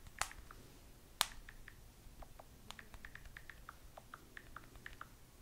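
Long nails tap quickly on the glass touchscreen of a small handheld smartphone. Two sharp, bright clicks open the clip, followed by a steady run of lighter, quiet ticks with no ring.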